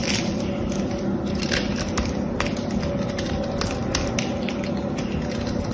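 A small blade scrapes the metallic paint coating off a solid blue bar of soap held in the hand, shaving the surface into crumbs. The result is a steady, dry, crackly scraping at a constant level, with brief bright ticks breaking through now and then.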